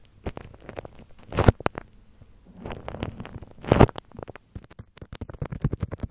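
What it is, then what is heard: Bubble wrap scratched over a mic grille. Fingertips and nails scratch and rub clear plastic bubble wrap stretched over a hollow microphone mesh grille. It makes soft, low, rumbling crackles and rustles, with louder scratchy bursts in the middle and a quick run of short crinkling taps toward the end.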